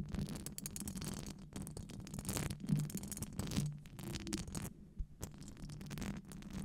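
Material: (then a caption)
Metal mesh. Long acrylic nails scratch and tap a hollow metal wire-mesh microphone grille. The result is a dense, uneven stream of scratchy rasps and light clicking taps over a low hum near 150 Hz. Brief louder bursts rise out of it, with short breaks between.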